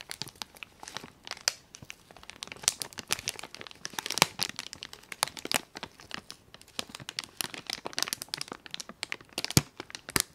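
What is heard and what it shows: A small clear plastic zip bag with cotton swabs inside, lying on foam, is opened and crinkled with fingertips and nails. The result is dense, bright crinkling and crackling with sharp snaps throughout and no ringing after each one.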